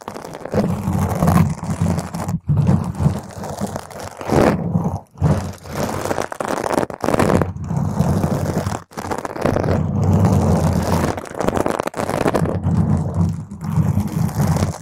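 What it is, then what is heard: Foam microphone windscreen being scratched. Long pointed green acrylic nails grip and drag over the sides of a purple spherical foam windscreen on a microphone. The result is a dense, muffled scratching and crunching rumble that is heavy in the low end with almost no brightness. It comes in continuous bursts broken by brief silent gaps.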